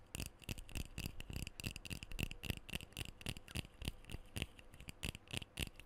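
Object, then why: Metal aerosol spray can. Fingernails tap and scratch the body and bottom end of a black metal aerosol deodorant can held up close to the mic. Quick, irregular taps give short, dull low thumps with a bright metallic tick around 2.7 kHz, and there is no lingering ring. Scratchy hiss fills the gaps between taps.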